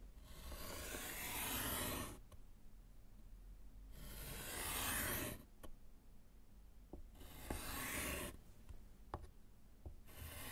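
A gloved hand hatches lines with white chalk on a small, flat, solid slate chalkboard set in a wooden frame. Four bursts of dry, bright scratching and rubbing, each about one to two seconds long, are separated by quiet pauses with faint clicks. The last burst is cut off at the end.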